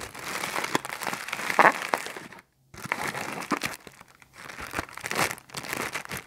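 A thin, empty, clear plastic bag with a blue print is held in both hands while fingertips stretch and crinkle it. Dense, bright crinkling and crackling comes in bursts, broken by a brief silence and a quieter lull before the crinkling picks up again.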